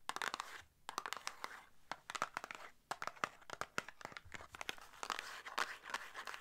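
Long nails tap and scratch the faces and edges of a small, hollow red and white paperboard box. Quick, crisp clicks come in irregular bursts over dry, papery scratching and crinkling. Each tap is brief and bright, with almost no ring and very little low end.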